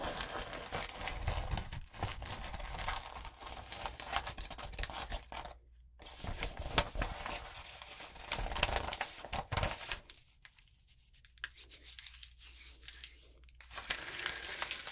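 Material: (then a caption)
Coated paper. A gold and pink glitter-coated notebook paper sheet is held and crinkled, then rubbed with both hands and long nails. The result is a dense, bright, scratchy crinkling with sharp crackles and a brief silent gap near the middle. Quieter, sparser rustling follows before the crinkling builds again at the end.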